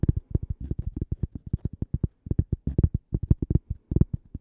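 A small, thin, solid cork coaster shaped like a slice of toast is held near the microphone and tapped with long painted nails and fingertips. About three dozen quick, dull, low thuds come in an uneven rapid patter, each dying out almost instantly with no ring.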